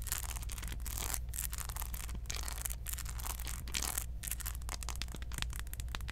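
Long acrylic nails scratch and tap the textured, beaded dreadlock head of a small hollow molded plastic Predator figurine held close to the mic, with a paper hang tag attached but left untouched. The result is a continuous, dense, bright scratching and rasping with quick taps, over a steady low hum.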